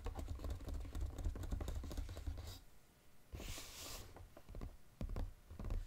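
Fingertips and short nails rapidly tap the lid of a flat, brown, textured cardboard Godiva chocolate box lying on a table. A dense run of dull, low, thudding taps fills the first two and a half seconds, then a brief lull gives way to a bright, scratchy swipe. A few scattered taps follow.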